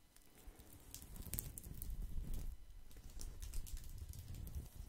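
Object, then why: Woven straw placemat. A round woven straw placemat is held close to the mic while fingertips scratch and tap across its braided surface. The result is a soft, steady rustling crackle with quick taps, mostly low and muffled, with faint bright ticks on top.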